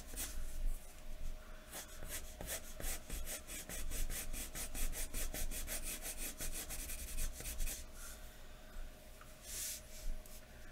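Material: Paper.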